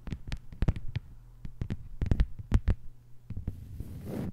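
A thin, flat green plastic cutting board lying on a table is tapped quickly with the long white nails of both hands. The result is a rapid, irregular run of short, dry clicks with a dull low thump and no ring, over a faint steady hum. The clip closes with a soft, brushing hiss.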